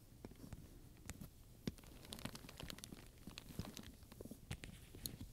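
A wooden pointer taps and scratches across a medium black leather handbag covered in round metal studs, with a ring and clasp, while long nails touch the surface. Quiet, irregular taps and short bright metallic clicks ring out over a soft, low scratching and rustling, each click dying away almost instantly.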